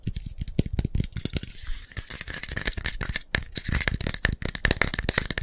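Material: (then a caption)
Metal. A hand-sized green and white metal aerosol foot spray can with a plastic cap is tapped and scratched with fingertips and nails. Rapid, aggressive taps land in a dense stream, each short, dry and knocking with almost no ring. Between them runs a bright, hissy scratching.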